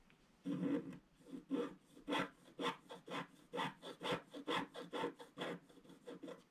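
A thin wooden stylus scratches a flat, black, wax-coated scratch-art sheet lying on a table, revealing the colours underneath. About fifteen short, dry, raspy strokes come in an uneven rhythm, each a scratchy burst centred in the mid-range with a bright edge that stops almost at once.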